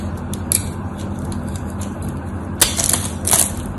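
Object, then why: Bar soap. A knife blade scrapes across a scored, solid white soap bar, breaking off small cubes. Bright, crackly scraping bursts rise over a steady low hum, the loudest cluster coming near the end.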